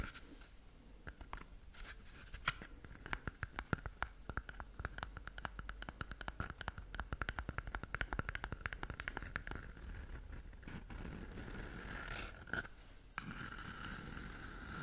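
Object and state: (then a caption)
Cardboard toilet paper tube. An empty, hollow cardboard toilet roll tube is held in both hands close to the microphone and scratched and tapped with long nails. Rapid, dense dry taps and scratchy rasps run almost continuously over a low rumble. After about ten seconds, the tapping thins into a steadier, softer scraping, broken by a brief pause.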